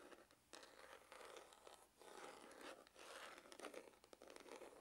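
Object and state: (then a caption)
Faux leather hard glasses case. Fingernails scratch the rounded side of a hollow, dark grained faux-leather hard glasses case with a red emblem. The result is a quiet, continuous rasping and crinkling scratch with bright, airy texture and almost no low end, swelling and easing as the strokes change.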